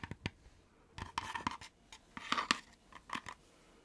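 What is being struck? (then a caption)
Thin laser-cut wooden lantern box. Long nails scratch and tap the panels of a hollow, thin-walled, laser-cut wooden fretwork lantern box as it is held in the hand and turned. Sharp, dry clicks alternate with short, bright scratching bursts, each dying away instantly with almost no low-end body.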